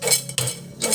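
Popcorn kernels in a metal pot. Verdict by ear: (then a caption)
Unpopped. A metal pot of popcorn is shaken and stirred, giving bright, ringing metallic clinks and rattles with short decays. The clinking shows that some kernels did not pop and are still left in the pot.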